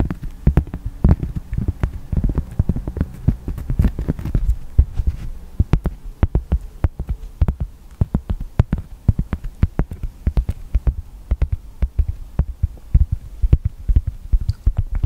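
A round, flat, palm-sized coaster of solid light-brown cork is held in front of the microphone and tapped and scratched with the fingertips. The result is a rapid, uneven stream of short, muffled thumps with a deep low boom, plus faint dry scratching and occasional crisp clicks. It is densest and heaviest in the first few seconds, then continues as steady lighter taps.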